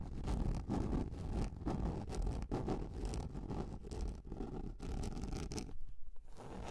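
Long nails scratch across the flat surface of a large, round, yellow plastic container lid. The result is a continuous, low, rumbling scrape made of quick, irregular strokes, with a brief quieter pause near the end.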